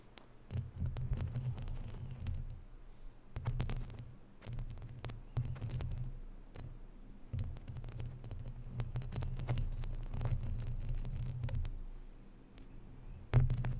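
Long natural fingernails scratch and tap across the round, white-painted woven steel mesh grille of a hollow condenser microphone with no foam cover. The result is a deep, boomy, throbbing rumble, broken by sharp clicks and taps that come in irregular bursts with brief pauses between them.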